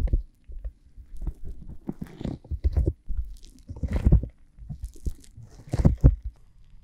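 Fingertips and long glittery painted nails touch and rub over the outer ears of a pair of flesh-colored, solid soft silicone ear models on square silicone blocks, likely a binaural microphone, still clean with no slime yet. The sound is a close, muffled series of low, bassy crunching and scraping bursts, with brief brighter scratches where the nails catch.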